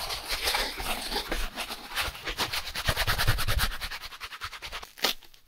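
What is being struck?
Styrofoam packaging insert.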